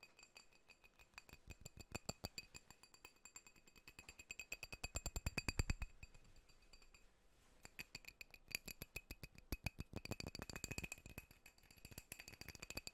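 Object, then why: Glass drinking glass. A drinking glass is tapped rapidly and steadily, giving a long run of quick, bright clinks with a high ringing tone over low thuds. There is a brief lull just past seven seconds before the fast tapping picks up again.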